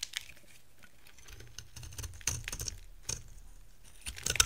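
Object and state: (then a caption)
Dry bar soap being carved. A metal cutter blade scrapes and carves flakes from the edge and face of a dry brown bar soap with a green shell, held in the hand. Soft, crisp scraping and crackling with a bright, papery texture swells into a few louder strokes. Each flake breaks off with a short, dry crunch and no ringing.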